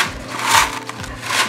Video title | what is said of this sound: MONTAMOS Y DECORAMOS UNA HUCHA DE MADERA. COLABORACIÓN CON CREACONRIO | quand j'aurai de l'argent, ça sonnera même plus fort